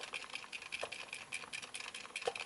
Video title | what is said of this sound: Review: Kalimba TREELF 17-key EQ | when i shook the body like this i could actually hear the rattle